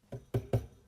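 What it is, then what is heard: Loose, rattly amplifier transformers. Three quick taps on the cabinet of a modded JMP 2203 amplifier give short, low, hollow knocks with a slight rattle and little ring. The transformers are very rattly, suggesting they are loose.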